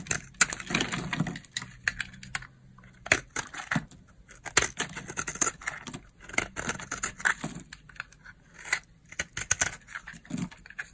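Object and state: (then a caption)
Dry bar soap. A solid purple dry bar of soap held in the palm is shaved and cut with a knife blade, and fingers crumble the flakes. Crisp, bright crunching and scraping snaps come in quick clusters with short pauses between them, each sharp and dry with almost no ring.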